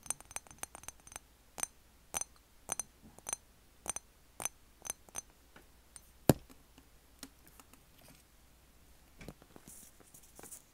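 A medium rectangular thick glass Jo Malone cologne bottle with a black cap, hollow and apparently holding clear liquid, is held in one hand and tapped with the fingertips and short nails of the other. The taps are quick, dry clicks with bright glassy ticks and almost no ring, sparse and uneven with one sharper knock near the middle. Near the end the bottle is turned and its flat side is softly patted with the palm and fingers.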